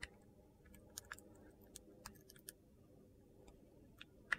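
A metal utility knife blade shaves the surface of a solid navy and red glitter-coated bar soap held in hand. About ten short, crisp, bright clicks and scrapes are spread unevenly across the clip, each dying away almost instantly. A quiet low rumble sits underneath, and the last click is the loudest.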